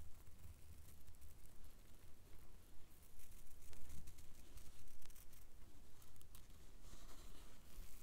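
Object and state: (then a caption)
Plastic cellophane wrapper. A small, thin sheet of translucent blue plastic cellophane, a lollipop-style wrapper, is held in both hands and crinkled and rubbed between the fingertips. It makes quiet, continuous crinkling and rustling with bright, crackly bursts over a steady low rumble.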